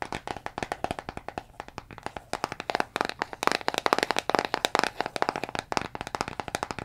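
Fingernails tap rapidly on a hollow brown plastic Jamieson vitamin bottle with a paper label and a green plastic cap, contents unclear, striking both the label and the cap. The result is a fast, uneven run of many crisp, dry clicks with almost no low end and no ring, centered in the mids around 1.1 kHz. The taps grow louder and denser in the middle of the run before easing slightly.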